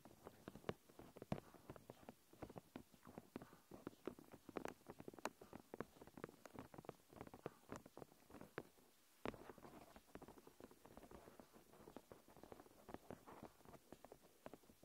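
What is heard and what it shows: Long nails tap and scratch the surface of a thin, clear plastic protective film pulled over a recorder. The result is a quiet, dense run of sharp, dry ticks and crinkly scratches with a brief pause partway through.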